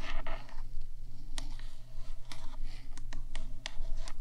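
Long nails from both hands tap and scratch the top edge of a black hollow metal 3Dio microphone body, making quick bright clicks and scraping rasps. A steady low hum runs underneath throughout.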